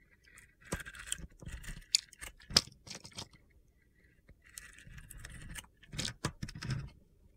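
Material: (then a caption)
Soap. A metal box-cutter blade shaves the glittery surface layer off a dry, solid, white opaque soap bar coated with black and purple glitter, held in the hand. The result is a series of bright, gritty, crunchy scraping strokes with short pauses between them.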